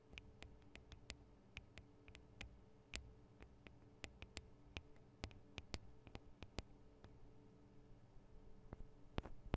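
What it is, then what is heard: Metal microphone capsules tapped with nails. Long nails tap on the sides of the small metal microphone capsules of a Tascam DR-40 recorder. Quiet, sharp, very short clicks come at an irregular pace over a steady low hum with faint sustained tones, growing a little louder near the end.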